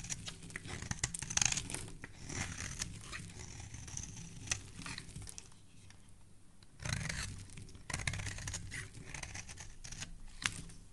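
A metal blade shaves thin curls from a solid, embossed teal soap bar with dark specks. It makes dry, crisp scraping and crinkling strokes with a bright, hissy edge and a soft low rumble underneath. The strokes pause briefly near the middle before the shaving resumes.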